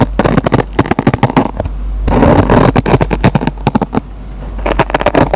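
A metal pen tip plucks and scratches the fibers of a dry kitchen sponge's green nylon scouring pad, making a rapid series of short, crackly snaps. Longer stretches of dense, rough scratching and a steady low hum run underneath. The sound is dry and mostly low-to-mid, with each pluck cutting off almost at once.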